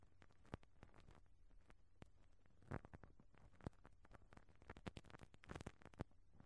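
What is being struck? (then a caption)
Metal mesh microphone grille brushed with rubber bristles. A pink rubber-bristle brush on a black handle is brushed and rubbed across the round, perforated metal mesh grille on top of a small, hollow cylindrical microphone head. The result is quiet, dense scratchy rustling with a boomy low-end rumble and a steady low hum underneath. Sharper crackling clicks stand out around the 2.7, 3.7 and 6 second marks.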